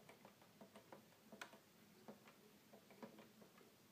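Fingertips tap the keys of a hollow red plastic toy keyboard, then its plastic panel buttons. The result is a quiet, steady series of light, dry ticking clicks with a hollow plastic tone and very short decay.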